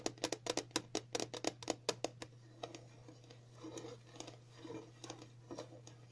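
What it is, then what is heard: Plastic container lid tapped with nails. The round, glossy lid of a dog flea-collar package, a hollow container about palm to hand size and probably plastic, is tapped with the fingertips and long natural nails of both hands. A quick run of sharp, bright clicky taps gives way to softer, quieter tapping and brushing. A low steady hum sits underneath throughout.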